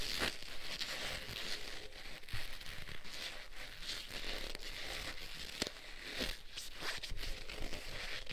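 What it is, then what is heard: Leather gloves rubbed together. Black leather gloves worn on both hands are wrung and squeezed together, giving a steady creaking and crinkling of leather with bright rustle and scattered sharp crackles. The texture stays continuous throughout, with a few louder squeaks standing out.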